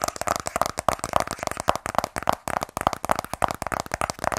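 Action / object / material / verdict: tap / sealed cardboard phone box / cardboard / none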